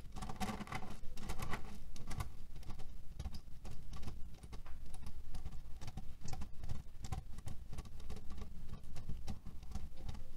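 Fingertips tap and scratch across the surface of a cotton-canvas cherry pit pillow. A dense, continuous patter of soft, muffled taps and rustling scratches runs steadily throughout, weighted heavily toward the low end with a faint bright edge on the sharper contacts.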